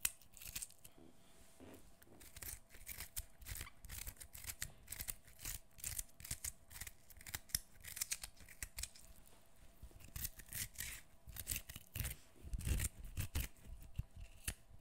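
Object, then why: Whole cucumber, skin peeled with fingernails. A fresh, mostly peeled whole cucumber, solid, is held close while fingernails scratch and peel off the remaining skin. Quick, dry scraping and snapping bursts with bright, crisp edges repeat irregularly over a soft low rumble.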